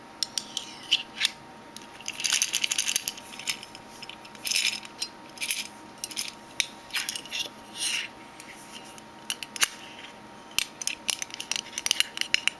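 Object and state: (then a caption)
Metal mint tin. Fingernails tap and click on a metal Minteas mint tin in a long, uneven series of sharp, bright metallic ticks. Quick flurries of taps alternate with single clicks, each dying away almost instantly with no low-end body.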